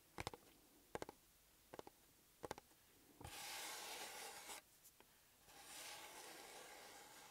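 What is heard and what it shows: A small, flat, closed, hollow blue paper-covered EMTEC cardboard box is held in one hand while the fingertips of the other lightly scratch and rub its top. Four short bursts of quick, crisp scratch-clicks come first, then a sustained bright, papery rubbing hiss. After two small ticks, a softer rub continues to the end.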